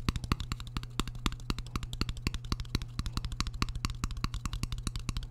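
A shallow, empty white square ceramic plate is held up in front of a microphone while a metal fork held against its back taps and scratches it. The result is a rapid, continuous run of dozens of short, dry clicks with bright edges and no ring, over a steady low hum.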